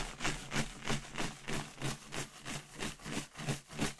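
A clear inflated latex balloon with confetti inside, held by the knot with long red nails, is shaken in a steady rhythm. Each shake brings a soft, bright rattling swish of confetti against the latex, with a low hollow thump from the balloon, repeating about three times a second.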